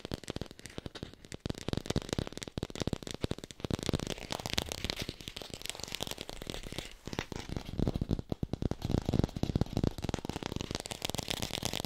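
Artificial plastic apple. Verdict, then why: Fake. An artificial plastic red apple is tapped rapidly with the fingers and recorded on a hi-fi microphone. The result is a dense, continuous stream of short, dry taps and clicks with a hollow low thud underneath and no ring.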